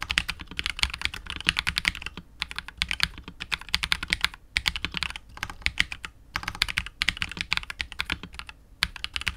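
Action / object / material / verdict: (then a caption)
tap / mechanical keyboard with PBT keycaps and polycarbonate case / plastic / none. A KBD67 Lite R2 65% mechanical keyboard with KTT Wine Red switches, PBT keycaps and a hollow, clear translucent polycarbonate case is typed on continuously with the fingertips of both hands. The dense, bright clacking keystrokes centre around 2.4 kHz with a soft low thock underneath, decay almost instantly, and break into brief pauses between bursts.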